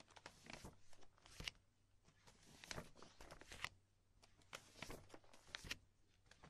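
A hand with long nails grabs, lifts and crinkles a stack of empty, thin clear polypropylene binder sheet protectors, with a magazine lying untouched beside them. Irregular bursts of bright, crisp crinkling and snapping plastic rise over a quiet background, with some louder sharp crackles.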